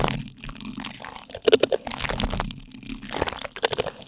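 Two light-blue plastic spoons rub and scrape across plastic cling film stretched tightly over a silver microphone's metal mesh grille. The result is a close, crinkly crunching with quick bright crackles and short scraping sweeps. Clusters of sharp taps stand out near the middle and the end.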